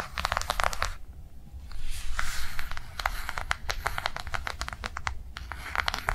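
Long nails on both hands tap fast on a flat blue rectangular soft-plastic cardholder lying on a padded table. The result is quick, irregular bursts of bright clicking with a crinkly, scratchy texture over a steady low hum. There are brief quieter pauses between flurries.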